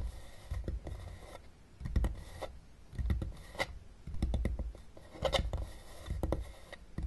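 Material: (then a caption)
Plastic. Long dark-painted nails tap and scratch the top of a small, hollow, closed blue plastic Battleship game case lying flat on a table with game pieces inside. Irregular, quiet taps land as dull, low, hollow knocks that die away almost instantly. Soft scratchy rasping fills the gaps between them.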